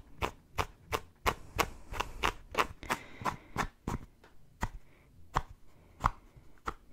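Fingertips of both hands scratch and rub a pink cotton baseball cap worn on the head, with its soft fabric crown and brim. About 17 quick, dry scratching strokes come in a loose, uneven rhythm, each a short broadband scuff with a brief fabric rustle between strokes.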